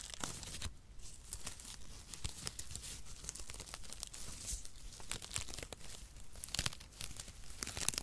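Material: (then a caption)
Cardboard. A light, airy bundle of cut, mesh-like brown cardboard packaging shreds is held in both hands beside the microphone while fingertips squeeze, crumple and rub it. The result is a steady stream of dry, crunchy crinkling and tearing-like crackles, with sharp, bright snaps scattered irregularly over a soft low rustle.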